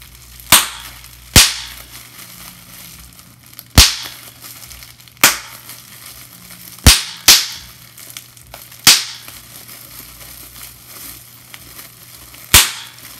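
Clear plastic bubble wrap has its bubbles squeezed and popped by fingers, giving sharp, bright, crackling snaps at irregular intervals over about 13 seconds. Each pop is short and decays quickly, with quiet plastic rustling between them.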